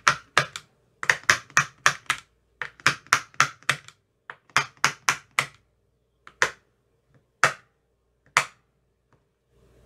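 A thin metal rod taps the cells of an empty clear plastic ice cube tray with green silicone cell bottoms, making 22 short, dry clicks centered around 1.7 kHz with bright upper edges. The taps come in quick, irregular runs for the first five and a half seconds, then slow to single, spaced clicks, and each dies away almost at once.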